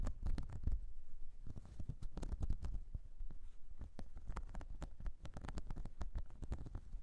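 Long nails scratch across the ridged surface of a flat, light blue, whale-shaped silicone cleansing mat. A dense run of quick, soft, rubbery scrapes and flicks comes out, with short bright clicks over a muffled low rumble.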